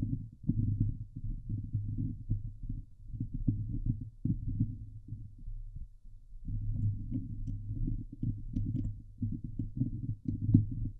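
Long glitter nails of both hands scratch the hollow steel mesh grille of a Blue Yeti microphone. The result is a dense, low, rumbling scratch with a hum-like tone near 105 Hz, broken by many quick strokes and a brief lull around six seconds.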